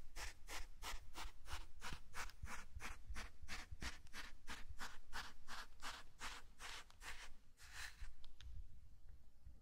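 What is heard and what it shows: A small wooden hand rake with a long handle is drawn through fine dry sand in a shallow rectangular tray, its teeth scratching and dragging to cut grooves. It makes a steady run of short, bright, hissing scrapes at about three strokes per second over a low rumble. The strokes thin out and fade near the end.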